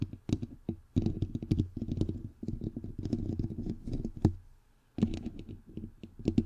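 Fingertips and long nails tap and rub both sides of a bare, hollow, white perforated metal mesh microphone grille. Rapid, dense clicks and scratchy taps sit over a low, boomy thud, with a short quiet gap before the tapping starts again.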